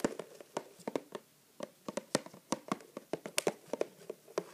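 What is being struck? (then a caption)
Printed cardboard box. Fingertips tap and rub the sides of a medium-size printed cardboard neti pot product box standing upright on a table as it is turned. About 19 quick, dry, papery taps land in uneven bursts, with a short pause near the middle. Each tap is a brief midrange knock with almost no ring or low end.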